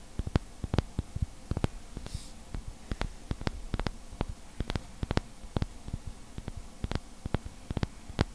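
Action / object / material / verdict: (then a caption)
scrape / glass bottle with glass stopper / glass / none. Fingertips rub and scratch the surface and neck of an empty-looking, hollow clear glass bottle with a heart-shaped glass stopper, held in both hands. Dozens of sharp, dry clicks and scrapes crackle irregularly over a low, soft rumbling hum, with a brief bright hiss near the two-second mark.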